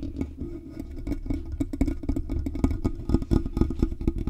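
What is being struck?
Metal mesh microphone grille.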